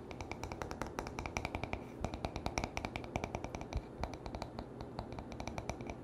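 Short nails and fingertips tap and scratch the back of a wooden paddle hairbrush with a solid wood body, making a quick, uneven run of dry, clicky taps. Each tap dies away almost at once, with a bright click on top and a low, soft thud beneath, over a steady scratchy rustle.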